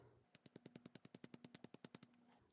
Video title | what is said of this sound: Franken Friday: Thinning Polishes With Polish | Can actually hear the shaker balls moving in there again, which it wasn't doing before